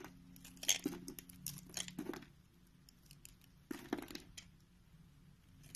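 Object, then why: Solid bar soap shaved with a knife blade. A purple Palmolive solid soap bar, held in the palm, is cut and shaved with a green utility knife blade. Bursts of bright, crisp scraping and crumbly crunching come in two clusters, separated by a quieter pause, over a faint steady low hum.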